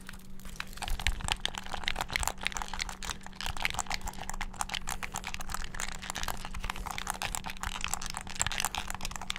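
Thumbs and fingertips rapidly mash the buttons of a hand-sized, hollow black plastic gamepad, held close to the mic and then to the side. A dense, continuous stream of sharp, bright plastic clicks and clacks sits over a steady low hum, with no pauses throughout.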